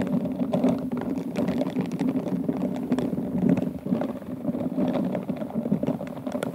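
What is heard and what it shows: Bristled pink silicone glove fingers rub and scratch the gem-covered bowl of an upside-down, hollow, empty rhinestone-covered glass wine glass. A dense, continuous stream of fine scratchy clicks and rustles sits mostly in the low-mid range around 200 Hz, with brief brighter ticks scattered throughout.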